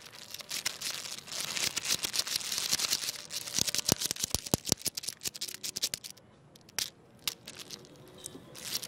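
Fingertips push and wiggle a long, carved, jointed wooden segmented crocodile toy lying flat on tiles, so its wooden segments click together. A dense run of dry, bright clicks and rattles fills the first six seconds, then thins into sparser, sharper single clicks separated by quiet gaps, with a final flurry at the end.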